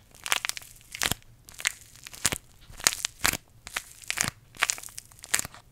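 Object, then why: Paper tea bag sachet. A small green paper tea bag envelope is squeezed and crinkled between the fingers close to the microphone. It makes repeated bright, dry crunching and crackling bursts with very little low end, separated by short quiet gaps.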